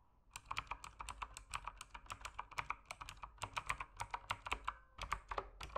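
Fingertips type steadily on an RGB-lit mechanical keyboard with plastic keycaps, producing about 35 quick, dry clacks with a bright click around 1.2 kHz. Each keystroke stops almost instantly, and the typing stays quiet and even throughout.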